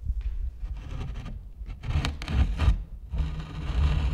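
Gloved fingers knock, tap and rub an old, large, solid-wood door and frame painted pink, in an abandoned building. The sound is low and dull, with soft muffled thumps and a brushing scrape over the wood. A few brief brighter scratchy accents appear near the middle.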